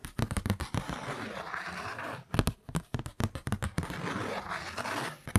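A kraft-paper Christmas card is held in both hands while fingernails tap and scratch its printed front. Clusters of sharp, dry taps alternate with two longer stretches of steady, hissy scratching across the paper.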